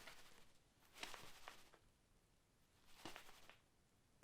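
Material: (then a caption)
Fabric. A mystery bag holding a soft, squishy item is shaken in bursts, giving brief rustling sounds from the bag itself. The contents make no noise of their own.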